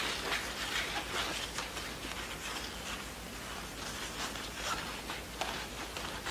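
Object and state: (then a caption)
Satin ribbon scratched with nails. Long nails scratch and rub along the printed satin tails of a long yellow horse show award ribbon lying flat on a wooden table. The result is a soft, steady, bright scratching hiss with short rasping strokes that come and go.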